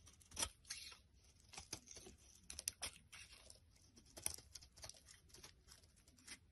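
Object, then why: Bar of soap scraped with a small blade. A small black blade scrapes a solid rectangular pink soap bar held in the hand, shaving off curls. The scraping comes as a series of quiet, dry, bright rasping strokes with sharp onsets and almost no ring, some louder than others.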